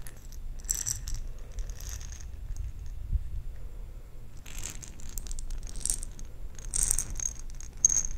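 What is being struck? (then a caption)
Jar of small plastic beads. A jar filled with small plastic perler beads is shaken and handled, giving bright, crisp rattling bursts with short pauses between them over a low, steady rumble.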